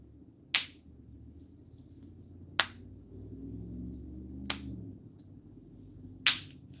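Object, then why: River stones. River stones taken from a river in Virginia are clicked together four times, each a sharp, bright click that dies away almost at once over a faint low murmur. Some of these stones give a deep thumping sound and others a flat tone, a difference possibly caused by river water flowing over them.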